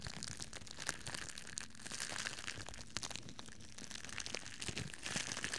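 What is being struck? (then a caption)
Thin plastic bag. A thin, crinkly red plastic bag, hollow and loosely bunched, is crumpled and scrunched with the fingers and palms in both hands in front of the microphone. The result is a continuous, dense crackle with many sharp, bright snaps over a low rustle, and each crinkle dies away almost instantly.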